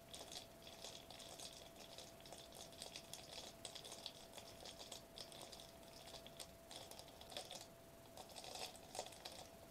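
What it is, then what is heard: Foil bubble wrap sheet. A foil-laminated plastic bubble wrap sheet held upright is tapped and scratched quickly with the fingertips across its foil bubbles. The result is a dense, continuous stream of crisp, bright crinkling clicks over a steady faint tone.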